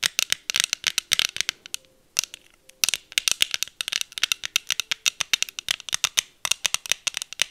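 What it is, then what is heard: Plastic sunglasses tapped with nails. Long acrylic nails tap and scratch the frames and lenses of pink plastic heart sunglasses worn on the face. The result is a rapid, uneven run of dry, bright clicks and scrapes with almost no low end, each dying instantly, with a short lull near the two-second mark before the tapping resumes.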